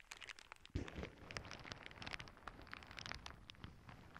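Long nails scratch and press a clear plastic zip bag full of small clear beads, making a steady crinkly rustle with scattered bright ticks and crackles. A soft low thump of pressing stands out near the start, and the quiet close-up rustling continues throughout.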